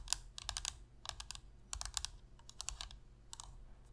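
Long pink-red fingernails tap rapidly on the shell and buttons of a black PlayStation controller made of hollow plastic. The sound is quick, bright, dry clicks in short clustered bursts separated by brief pauses, over a faint low hum.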